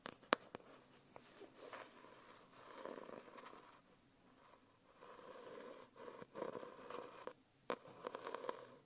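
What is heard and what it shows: Long nails tap and scratch across the front cover of a closed holographic foil hardcover notebook held upright on a lap. Quiet, papery scratching swells and fades, broken by a few sharp taps. A faint steady hum sits in the mid range near 520 Hz.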